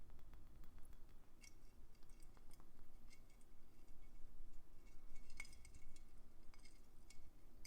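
Traditional round Christmas bauble ornaments with painted winter scenes are tapped while hanging on the tree. Small, bright clinking ticks are scattered over a steady low rumble, each dying away almost at once.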